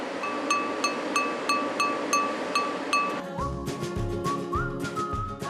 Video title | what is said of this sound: 단순한 뚝배기 그릇 하나를 만들기 위한 어마어마한 과정┃전세계에서 공수한 16톤 원료로 만드는 튼튼한 뚝배기┃하루 3,000개 대량 생산하는 생활 자기 공장┃극한직업┃#골라듄다큐 | 이렇게 때려봤을 때 맑은 소리가 나는데